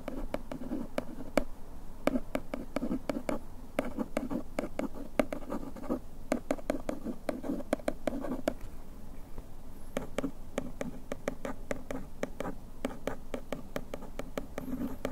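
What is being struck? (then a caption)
Printed paperboard box and bamboo pick. A bamboo ear pick traces and scratches the printed lettering on the back of a paperboard bandage box. Dry, close scratching runs for about fifteen seconds, with a steady low-mid rasp broken by many quick, sharp ticks that die away instantly. A brief pause comes around the ninth second before the scratching picks up again.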